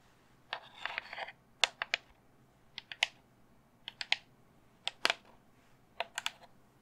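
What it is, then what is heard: Resin skull candle holder. Long fingernails tap a cream, hollow-looking resin skull candle holder as it is turned in the hands. The taps come as irregular clusters of sharp, bright, high-pitched clicks that die away almost instantly, over a faint steady hiss.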